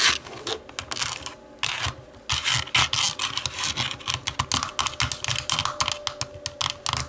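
Long nails tap and scratch the textured back of a hollow black plastic TV remote lying face-down. The result is a rapid run of short, bright clicks mixed with raspy scratching bursts, each dying away almost instantly, with little low end.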